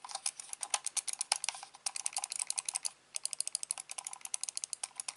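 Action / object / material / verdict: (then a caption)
tap / plastic computer mouse / plastic / none. Fingertips click the buttons and turn the white scroll wheel of a hand-sized, hollow, black plastic corded computer mouse. A rapid, uneven stream of short, bright, dry clicks with almost no ring runs throughout, with a brief gap near the three-second mark.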